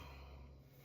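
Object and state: Nothing is struck.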